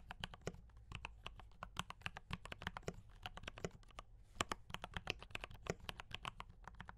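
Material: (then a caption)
Plastic. Fingertips type steadily on a D84 mechanical keyboard with brown switches and cream and red plastic keycaps. The result is a quick run of short, crisp clacks with a bright top and a faint low hum underneath. Each keystroke dies away almost at once.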